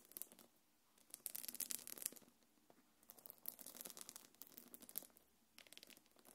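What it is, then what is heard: Faux-leather belt bag being scratched. Long nails scratch down the front of a small quilted black leather-look belt bag. The result is quiet bursts of bright, dry rasping and crinkly scraping, with short silences between strokes and almost no low end.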